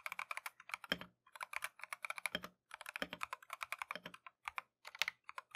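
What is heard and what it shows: A compact Keychron V1 mechanical keyboard with Tangerine switches and green and white plastic Matcha keycaps, resting on a desk mat, is typed on continuously with gloved fingertips. The result is a quiet, steady run of short, bright, crisp clacks that die away almost instantly, with a few deeper, fuller thocks every second or so and brief pauses between bursts.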